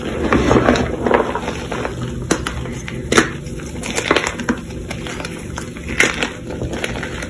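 Both hands press, crush and rub crumbly clumps of reformed pink chalk powder with their fingers in a large tray. A steady, gritty crumbling hiss runs throughout, punctuated by sharp, dry crunches and snaps as clumps break apart.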